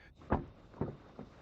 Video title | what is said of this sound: Audi Q3 2026 – Revue / Essai | La porte émet un bruit solide